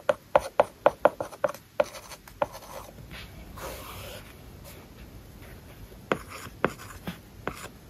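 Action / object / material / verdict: tap / plastic stylus on a tablet glass screen with matte plastic film / plastic film / none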